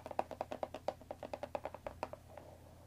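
Long dark fingernails tap and scratch the top of a cardboard Earl Grey tea box resting on a wooden table. A quick run of about nineteen dry, hollow taps with a mid-pitched papery knock dies almost instantly, then fades into a faint soft scratching.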